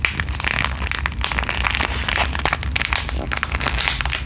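Long green nails and fingertips scratch, tap and crinkle a small flat pink plastic/foil sheet-mask sachet held close to the microphone. A dense run of bright, crackling crinkles and quick taps sits over a steady low hum. Near the end the hand comes very close to the mic, with possible mic contact.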